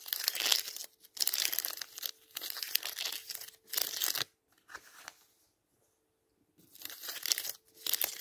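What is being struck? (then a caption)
Paper page edges of a thick hardcover book. Fingertips brush and riffle along the stacked paper page edges of a thick, closed hardcover Bible lying flat on a table, its fore-edge fitted with colored index tabs. Bursts of dry, bright crinkling and rustling come in separate strokes with short silent gaps between them, energy concentrated high with almost no low end. A faint steady hum sits underneath.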